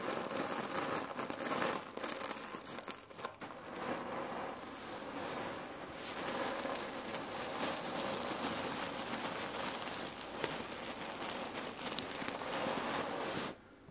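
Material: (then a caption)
Cherry pits. Long nails scratch and fingers squeeze a red patterned cotton neck warmer pillow filled with cherry pits, making a dense, continuous crinkling crunch as the pits shift and rattle inside the fabric. The sound stays steady and bright for about 13 seconds, then cuts off abruptly near the end.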